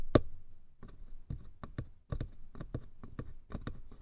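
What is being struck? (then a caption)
Small wooden box. Fingertips tap and scratch the lattice-patterned lid and sides of a small light-wood box. The result is a quick series of short, dry, low knocks with a soft scratchy edge, each one dying away almost instantly.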